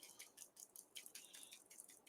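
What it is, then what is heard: Small makeup bottle rattling when shaken. A small, unopened Luminess airbrush makeup bottle is shaken, giving a quick run of bright, high-pitched rattling clicks. The rattles are sharp and dry, with almost no low end.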